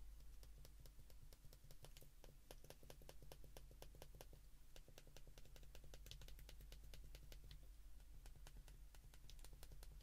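Thumbs repeatedly press the keypad buttons of a handheld white plastic flip phone, producing a rapid, steady stream of short, crisp clicks with bright ticks. The clicks continue throughout over a constant low hum.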